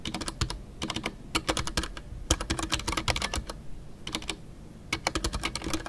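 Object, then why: Mechanical keyboard with PBT plastic keycaps. Fingertips type continuously on a full-size Ducky One 2 mechanical keyboard with a white case, MX Brown switches, and custom artisanal PBT plastic keycaps. Quick bursts of sharp, bright clacks with deep thocky bottoming-out sit over a low hum, broken by short pauses between runs of keystrokes.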